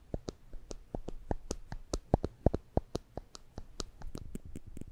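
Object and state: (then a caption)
Plastic spring clamp snapping. A small yellow and black plastic spring clamp is held in the fingers above the microphones and squeezed and released repeatedly, its jaws snapping open and closed. About two dozen short, dry clicks come in an uneven rhythm, each with a low knock and a faint bright tick that stops almost instantly.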